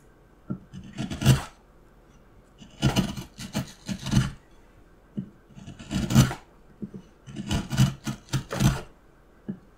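A steel carving knife scrapes and cuts into the patterned face of a solid, light wooden block. Short rasping, scraping strokes come in clustered bursts with separate quiet gaps between them. Each stroke has a dull low thud under a bright, hissy scrape.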